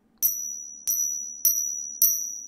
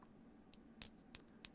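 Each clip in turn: First: Four bright, high pings from two coins struck together; these are fake silver coins, set against genuine ones. Second: Four bright metallic pings from coins struck together; these are the counterfeit silver coins.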